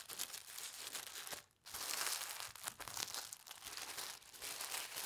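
A narrow strip of folded white tissue paper is held up, then pressed and rubbed flat on a table by fingertips with red nails. Steady bright crinkling and rustling fills the clip, with a brief pause near the middle before the papery scratching resumes.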